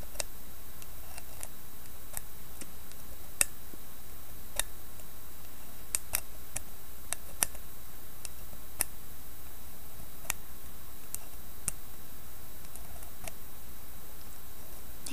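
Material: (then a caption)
Wood. Fingernails scratch and trace along the rim of a carved wooden lidded bowl with a carved floral wooden lid and a brass knob. Sparse, sharp, bright ticks and clicks sound at irregular intervals over a steady low hum, staying quiet throughout.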